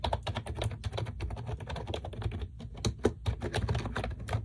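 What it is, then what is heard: Plastic computer keyboard being typed on. A pink plastic computer keyboard with a solid body and round typewriter-style keycaps, resting on a desk, is typed on rapidly with long acrylic nails and fingertips. The result is a quick, continuous stream of short, dry clicks and taps over a steady low thump, with brief pauses between bursts.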